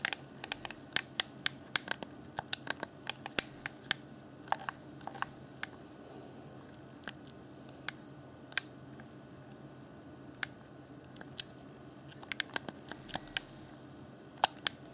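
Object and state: Plastic game controller.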